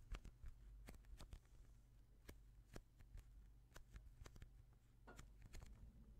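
A hand-sized, soft, solid polyurethane foam squishy toy shaped like a slice of white bread is pressed and rubbed with the thumbs and fingertips of both hands. The result is quiet, dry, crackly ticks and soft squeaks, scattered irregularly over a steady low hum.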